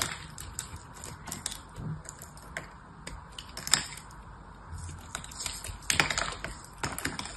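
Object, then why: Foil-wrapped soap bar. A small, solid, dry, foil-wrapped soap bar is held in the hand and cut and scraped with a small knife blade, breaking off foil and crumbly soap flakes. Irregular, crisp, bright crackles and sharp clicks stand out over a faint, steady hiss, with louder snaps near the middle and toward the end.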